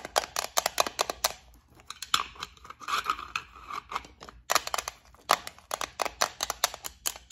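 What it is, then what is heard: Small clear plastic bead case. Long nails tap and scratch the lid and edges of a small clear plastic case holding gold beads. Bursts of quick, sharp, dry clicks with bright edges frame a softer, scratchy rubbing passage in the middle, and each tap cuts off almost instantly.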